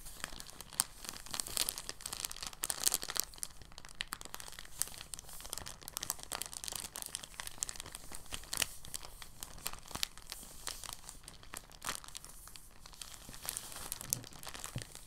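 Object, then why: Thin plastic bag. A thin, translucent, empty plastic bag is squeezed and folded into a small bundle by fingers for about fifteen seconds. It produces a steady stream of soft, bright crinkles and crackles, with no pauses and no ringing after each crackle.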